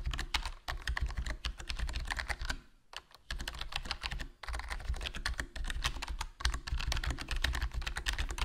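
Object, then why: Plastic membrane keyboard. Fingertips type continuously on a HyperX Alloy Core RGB plastic membrane gaming keyboard with a foam mod, a black plastic body and black plastic keycaps in a hollow case. Quick, dense clacks come in bursts with a low, deep thump under each press and short bright clicks on top. The typing pauses briefly near the three-second and four-and-a-half-second marks.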